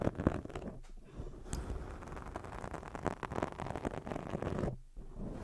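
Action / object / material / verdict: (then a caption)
scrape / foam microphone windscreen / foam / none. Long nails scratch a black foam microphone windscreen, then hands cup it and rub it. The result is a close, muffled scratching and rustling with a deep low rumble and little high end, and the level stays fairly steady apart from brief dips near 1 and 5 seconds.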